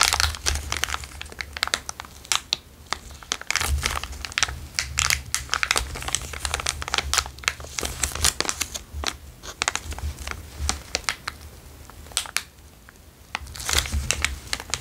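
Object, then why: Small thin plastic zip-lock bag. A small, empty, transparent zip-lock bag is held between the fingers and crinkled and squeezed with the fingertips. Dense, bright crinkling crackles and sharp plastic snaps fill the clip over a faint, steady low hum. The crinkling thins briefly around the twelve-second mark before picking up again.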